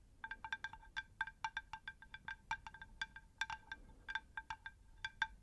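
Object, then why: Unglazed terracotta plant saucer. A shallow, round, unglazed terracotta plant saucer is tapped with long nails on both faces. Quick, irregular taps each give a short, bright, bell-like ping with a clear ringing tone that dies away almost at once, over a faint low background rumble.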